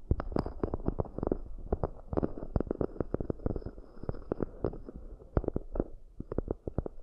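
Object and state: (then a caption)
Cork bowls tapped and scratched. Long nails rapidly tap and scratch the outer walls and rims of two identical round, hollow, empty cork coaster bowls. The taps are quick, dull and low, with a short dry decay and a soft scratchy texture between them. They come in a dense, irregular patter with no ringing.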